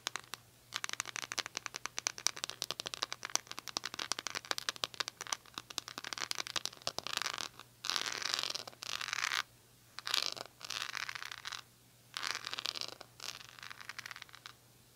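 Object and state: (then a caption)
Rhinestone-covered plastic hair brush. Long nails scratch and tap the jewelled back of a rhinestone-covered plastic hair brush, an oval brush with a silver handle. A fast run of sharp, bright clicks gives way to longer raspy scratching strokes separated by short pauses.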